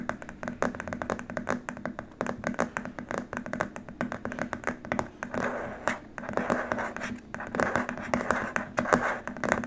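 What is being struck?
Rigid plastic keyboard wrist rest.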